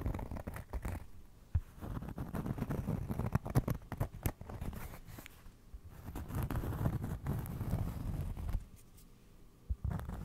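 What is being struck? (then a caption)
Cork trivet. A round cork trivet is held close and scratched and tapped with fingernails. The result is a soft, low, crackly patter of dull taps and scraping. Brief pauses break up the sound, with a few sharper taps standing out.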